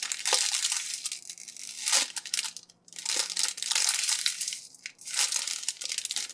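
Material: Plastic film.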